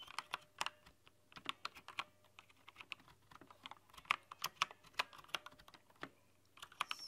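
Long nails type across a rainbow-lit plastic backlit mechanical keyboard with translucent plastic keycaps. Quick, bright clicks and clacks come in uneven bursts, each dying almost instantly, with a faint steady low hum underneath.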